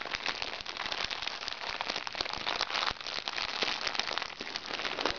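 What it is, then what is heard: Crinkly plastic makeup bag. Fingertips and nails tap, scratch and squeeze a small crinkly recycled plastic makeup bag lying flat. The result is a dense, continuous bright crackle and crinkle with quick sharp ticks and almost no low end.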